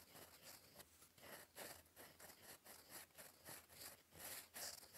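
A gold metal fountain pen nib, held in fingers and writing cursive, scratches across a flat sheet of cream lined paper resting on a desk. Quiet, bright, scratchy strokes repeat in an uneven rhythm, each a short rasp that swells and fades with little low end.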